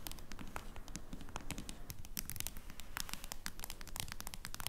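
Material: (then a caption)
Plastic. Long nails tap rapidly on the back of a smartphone in a clear plastic case lying flat. The result is a quick, irregular stream of sharp, bright clicks over a low, steady rumble.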